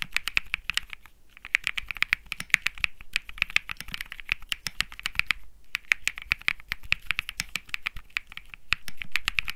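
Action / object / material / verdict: tap / mechanical keyboard with aluminum case and plastic keycaps / plastic / none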